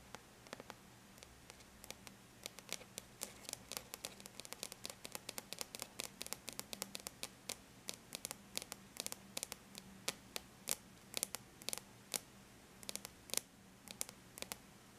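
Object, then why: Aluminum laptop lid. Long bare natural nails lightly tap on the flat silver-gray aluminum lid of a laptop, producing dozens of quick, bright clicks with almost no ring. The taps come in irregular bursts over a quiet, steady low hum.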